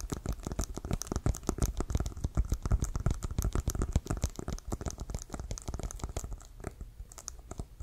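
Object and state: Leather American football tapped with fingernails.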